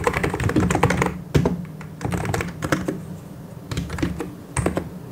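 Both hands type continuously with fingertips on a full-size plastic mechanical keyboard with white and grey plastic keycaps and hollow key switches. The result is a steady run of hollow, thocky clicks and clacks with a strong low-end body, in bursts separated by brief pauses.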